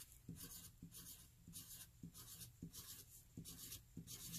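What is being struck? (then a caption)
Graphite pencil on paper sheet. A hand-held graphite pencil writes more e's along the lower rows of a flat white paper sheet, scratching the paper. Seven quiet strokes are heard, each with a soft low tap on contact and a bright, dry scratch as the letter is drawn.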